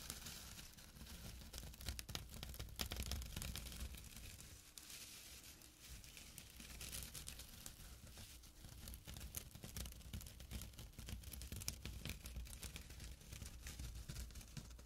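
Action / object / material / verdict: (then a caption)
scrape / burlap drawstring pouch / burlap / none. Short nails scratch the woven surface of a small, flat burlap drawstring pouch, making a dense, quiet stream of rapid, dry, crackly rasps with bright, papery texture. The scratching runs continuously for about fifteen seconds, dipping briefly near the middle, over a steady low hum.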